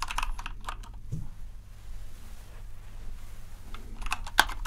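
Fingertips type rapidly on a compact white plastic RGB mechanical keyboard, making quick bright clacking keystrokes. The keystrokes come in dense bursts at the start and end, with a quieter stretch in the middle. A steady low hum runs underneath throughout.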